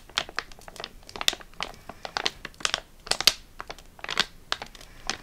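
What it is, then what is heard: Foil sachet. A flat foil-laminate eye mask sachet is held up, crinkled and tapped with long nails. Short, crisp crinkles and clicks come in quick irregular bursts, mostly high and bright with almost no low end, each dying away almost instantly.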